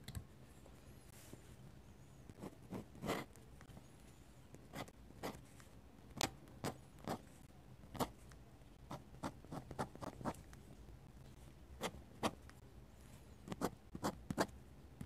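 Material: Paper.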